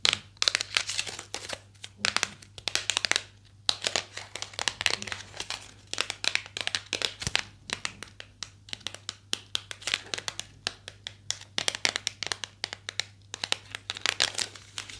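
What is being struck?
Small cardboard box.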